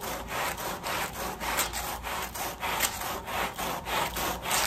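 The wet, foamy back side of a woven pile area rug, laid on a plastic sheet, is scrubbed in strokes with a long red-handled push brush with white bristles. Each stroke makes a bright, scratchy swish, and the swishes repeat in a steady back-and-forth rhythm with a wet, fizzy hiss.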